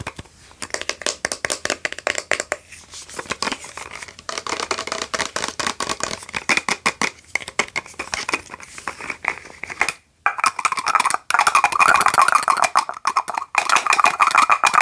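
Long nails tap and scratch along the body and pump cap of a tall clear plastic body mist spray bottle filled with red liquid. Quick, irregular clicky taps with a bright, crinkly edge fill the first ten seconds. After a brief silence they give way to a denser, continuous scratching rasp with a steady midrange tone.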